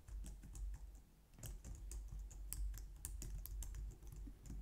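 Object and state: Plastic computer keyboard being typed on.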